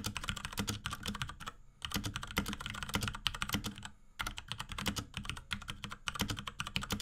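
A small pink 75% Akko x Ducky 3084 mechanical keyboard with Cherry MX Brown switches, plastic keycaps and a plastic case, sits on a desk and is typed on rapidly with the fingertips of both hands. Quick, bright, clacky key presses with a low thock underneath come in dense bursts, with brief pauses near 1.7 and 4 seconds.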